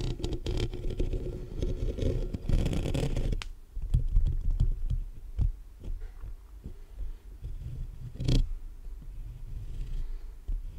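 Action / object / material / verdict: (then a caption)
tap / metal mesh microphone grille / metal mesh / none. Fingertips and short nails of both hands rapidly tap and scratch the top of the hollow metal mesh grille on a black USB condenser microphone. Dense, boomy scratching rumbles through the first few seconds, followed by a run of sharp, low, thudding taps with brief scratchy bursts in between. The sound stays very close and bass-heavy throughout.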